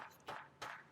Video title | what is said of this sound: Best Knives Under $100 Made in the USA - Buck Compadre 104 - Sharp Saturday | you can hear it ring it is solid